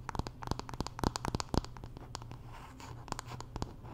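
Long nails scratch and tap the solid wooden back of a wooden paddle hairbrush with pins, making a rapid series of sharp, dry clicks mixed with brief scratchy rasps. The taps are short and stop quickly, with no ring after each one, over a faint steady low hum.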